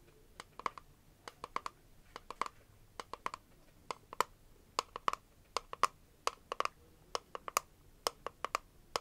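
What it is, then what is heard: Clear plastic nail box. Long nails tap and scratch a small clear hard-plastic press-on nail case, then its lid is opened and the plastic is tapped. About three dozen short, dry, bright clicks ring near 1 kHz and die away almost instantly, with a faint scratchy rustle between them.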